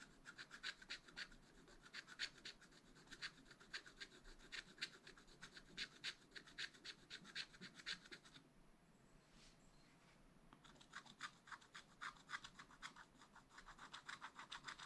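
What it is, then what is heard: Scratch-art paper sheet being scratched. A wooden stylus scratches a black wax-coated scratch-art sheet in a spiral-bound pad. It makes rapid, bright, raspy strokes at about four per second. The scratching pauses briefly near the middle, then resumes at the same quick pace.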